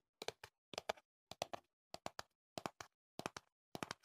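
Fingertips and nails tap the sides of a tall, hollow cardboard earplug box held close to the mic. They make soft, dry, hollow knocks in seven quick bursts of about three taps each. Each tap has a mid-pitched body with a crisp bright edge and stops dead with no ring.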